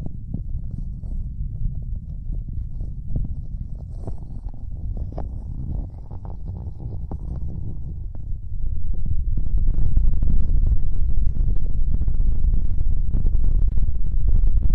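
Fingertips and nails tap and scratch the fabric surface of a square printed stuffed throw pillow held close in front of the microphone. Soft, muffled low thumps mix with dense rustling and scratching in a quick, uneven rhythm. About halfway through, the tapping grows louder and busier, with brighter scratchy edges.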